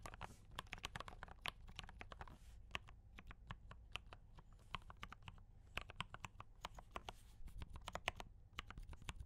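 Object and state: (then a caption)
Mechanical keyboard with plastic keycaps. Both hands type continuously with fingertip taps on a compact mechanical keyboard with D84 brown switches and cream and red plastic keycaps. The result is a steady, uneven stream of sharp, short, bright clacks over a constant low hum.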